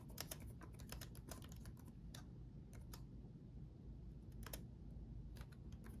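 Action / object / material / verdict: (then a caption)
tap / plastic laptop keyboard keys / plastic / none. Both hands type rapidly with their fingertips on the plastic keycaps of a black laptop's backlit chiclet keyboard, set in a solid chassis. A quick, uneven stream of short, bright key clicks sounds over a steady low rumble, with each tap dying away almost instantly.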